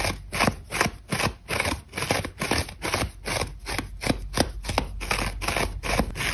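A dry, crumbly grey-beige old foam sponge, held in one hand, is scratched fast by long nails that gouge lines along its surface. The result is a rapid series of dry, crunchy scraping strokes with a bright, gritty texture, while crumbs scatter onto a white table.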